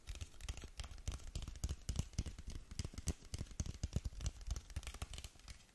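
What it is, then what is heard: Cardboard cosmetic box. Long nails tap the front face of a long, narrow black cardboard lip gloss box held close to the mic. The result is a rapid, irregular run of soft, dull taps, heavy in the low end, each with a brief papery click and no ring.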